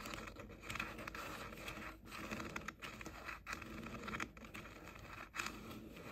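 Fingertips and short nails rub and scratch the hollow pink plastic ear cups of JBL over-ear headphones held in both hands. The result is a continuous dry, crinkly scraping texture with bright edges, broken by a few brief quiet gaps.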